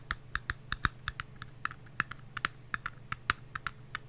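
A small, empty, hollow patterned paper cup is held in the hands and tapped with long nails and fingertips. About twenty quick, dry, hollow clicks sound at an uneven pace, each dying away almost instantly, with a bright ring around 1.3 kHz.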